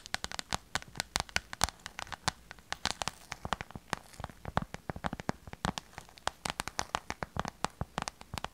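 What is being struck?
Small clear vinyl pouch.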